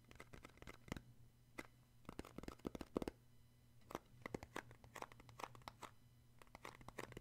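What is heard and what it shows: Fingertips tap and grip the inside bottom of a small, square, open cardboard box that is white inside, hollow and empty, and held in one hand. Quick, dry, scratchy taps come in uneven bursts and die away at once. A steady, faint low hum sits underneath.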